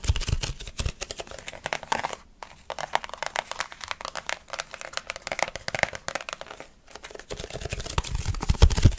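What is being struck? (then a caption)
Plastic food container lid. Fingertips and short nails quickly grip and tap a handheld, flat rectangular red plastic food container lid with a hollow rim. The result is a rapid, dense stream of crinkly plastic clicks and taps with brief quieter gaps, growing louder toward the end.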